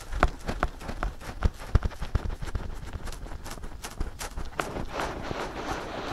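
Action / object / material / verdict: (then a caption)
tap / silicone ears of a binaural microphone / silicone / none. Fingertips scratch and tap both soft silicone ears of a binaural microphone. Dull, low thumps land in an uneven rhythm among soft, brushy scratching. Later, the scratching turns into a steadier, brighter rustle.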